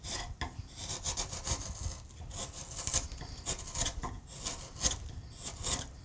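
A hand-held steel gouge pares and scrapes a solid wood acanthus relief on a carved wooden panel in many short cuts. Each stroke makes a bright, dry rasping scrape with quick, soft onsets and almost no ring. The strokes come as an uneven series of scratchy bursts over a faint low rumble.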